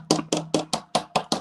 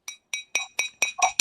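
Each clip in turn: First: plastic cup, dull knock. Second: real glass cup.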